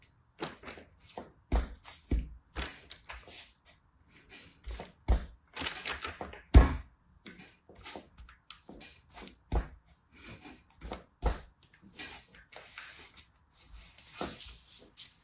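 A fist-sized solid mound of red kinetic sand on a teal mat is patted, pressed and tapped by fingertips with painted nails, then pushed and kneaded flat, while other sand piles nearby stay untouched. Dozens of soft, dull, low thunks follow one after another, each dying away almost instantly, with a faint gritty rustle between some of the presses.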